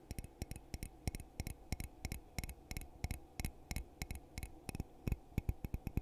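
A hollow red glittery glass coffee mug is held in both hands and tapped on the outside with fingertips and nails. About 29 short, dry taps come in an irregular rhythm, each a dull low knock with a bright clicky edge and almost no ring.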